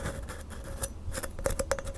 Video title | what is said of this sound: ASMR * Theme: Star Wars * Soft Spoken * Tapping & Scratching * Fast Tapping * ASMRVilla | it makes a great kind of a gritty, scratchy sound.